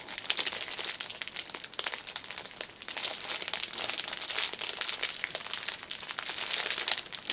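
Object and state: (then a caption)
Cellophane-wrapped fabric pouch. Long nails squeeze, scratch and pull at the loose clear cellophane wrapped around a small black fabric pouch held upright. The result is a dense, continuous crinkling of quick, bright crackles with almost no low end, running steadily for about seven seconds.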